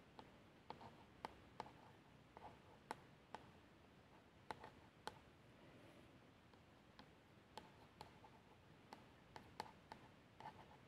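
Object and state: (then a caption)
Plastic shower gel bottle, nail tracing. A long nail traces the printed lettering on the label of a plastic shower gel bottle that appears filled and is lying down. A quiet, steady scratching runs throughout, broken by sharp, brief clicks and ticks with a bright edge and a faint mid-range tone.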